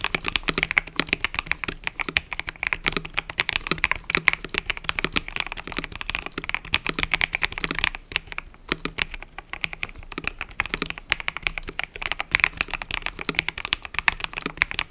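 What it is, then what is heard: Mechanical keyboard with plastic keycaps. Fingertips type continuously on a mechanical keyboard with cream and purple plastic keycaps, producing a dense stream of short, bright clacks centered around 2 kHz that die away almost instantly. The typing holds a steady pace with a brief lull around the eight-second mark, and a faint low hum sits beneath it.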